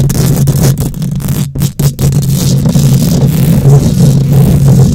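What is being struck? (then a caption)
Wire-mesh microphone grille. Long nails scratch aggressively across a hollow wire-mesh metal microphone grille, making a loud, continuous scraping rumble. The sound is dominated by a deep, boomy low end with a steady low hum, and it drops out briefly a few times early on before resuming at full, dense intensity.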